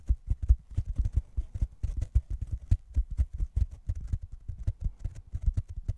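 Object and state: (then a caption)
Foam block. Fingertips scratch and tap the surface of a soft, solid, rectangular black open-cell foam block held in both hands right over the microphone, pressed close enough that some mic handling may be mixed in. The result is a rapid, uneven patter of dull, deep thumps with almost no ring, each landing as a short low bump with faint bright scratchy ticks on top.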